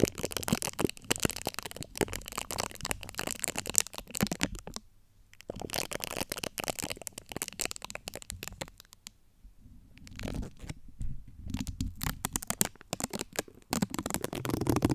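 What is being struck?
Metal wire-mesh microphone grille.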